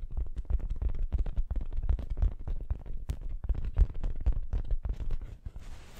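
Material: Fabric.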